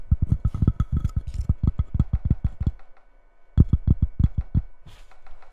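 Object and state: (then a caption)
Cork coaster with ceramic base. Long red-painted nails tap, rub and scratch across a small flat square coaster with a cork top on a solid white ceramic base, with a label or plastic film on the surface at the start. A rapid run of short, dull, low knocks with almost no ring pauses briefly just before the middle, then resumes and fades into softer taps and scratches.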